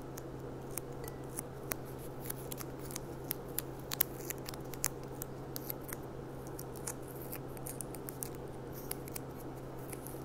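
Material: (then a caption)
Glass. Fingernails tap and click on the bowl of a clear, empty, gold-rimmed glass goblet lying on its side on a tablecloth. Many quick, bright, dry clicks come in an irregular stream with almost no ring, over a steady low hum.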